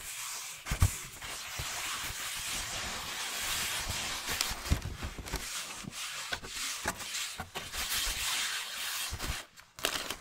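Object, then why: Cardboard shoe box lid. Fingertips and nails rub and scratch across the flat lid of a hollow cardboard Nike shoe box held up by hand. The sound is a steady, bright, papery scraping with occasional sharper clicks and taps. It briefly drops out near the end before resuming.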